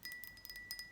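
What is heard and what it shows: Fast, light taps on a decorative glass jar lid holding rings produce bright, chime-like clinks. A clear, sustained glassy ring sits steadily near 2 kHz, because the opening is open to the air and not muffled.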